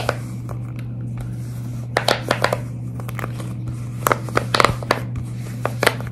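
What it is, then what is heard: Silicone pop-it fidget toy. Long red nails scratch and tap along the bubbles of a large silicone pop-it fidget toy, held up close and bent slightly. About fourteen sharp, bright clicks and crinkly scratches stand out over a steady low hum, clustered in quick bursts with short pauses between.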